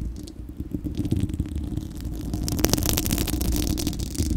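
Long acrylic nails on both hands scratch the bare, hollow, fist-sized spherical steel wire-mesh grille of a microphone. The result is a dense, continuous rumbling scrape with crackly, rustling texture that grows louder and brighter in the second half.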